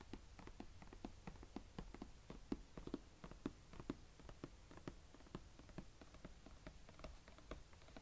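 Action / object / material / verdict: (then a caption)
tap / plastic carry case lid / plastic / none. Fingertips and nails tap and scratch the embossed lid of a medium, hollow blue plastic carry case lying flat, while the other hand steadies its right edge. A quiet, steady stream of short, dry taps with a hollow low-mid tone mixes with faint scratching over a low background rumble.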